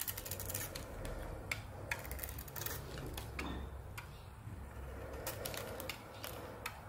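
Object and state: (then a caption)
Soap bar being scraped with a blade. A utility knife blade scrapes and peels thin layers off a hand-sized oval bar of solid soap with a glossy dark red coating, held in the hand, with a pink soap bar nearby. Crisp, dry scraping strokes and sharp ticking clicks repeat steadily over a constant low hum.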